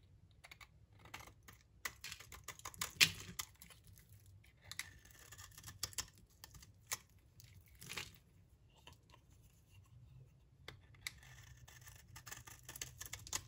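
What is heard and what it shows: A blade scrapes and cuts a solid, dry olive-brown bar of soap, shaving off crisp curls. Bright, dry crackles and snaps sound in uneven bursts with no ring, and the loudest crunch comes around three seconds in.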